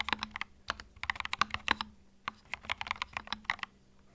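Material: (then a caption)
Plastic. Fingertips type continuously on a compact white mechanical keyboard with plastic keycaps, making a quick run of sharp, bright clicks in uneven bursts with short pauses between. Each keystroke is a dry, snappy tap that dies away almost at once.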